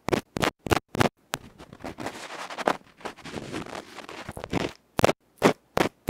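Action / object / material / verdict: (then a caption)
scrape / aluminium microphone capsule and bamboo ear pick / aluminium / none. A bamboo ear pick scratches the black felt face of a small hollow aluminium electret microphone capsule held in fingertips. Short, harsh, broadband scratching bursts open the clip, followed by a rough, continuous scraping and rubbing passage, then more sharp, separated scratches at the end.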